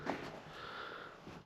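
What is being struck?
Nothing is struck.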